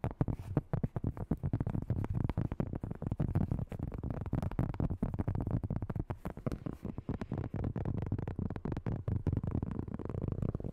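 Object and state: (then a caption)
Cork board. Long nails tap and scratch fast across the textured surface of a large, round, flat, solid cork board held in both hands. The result is a rapid, continuous run of dull, muffled taps with very short decay, mostly low in pitch with little high-end brightness.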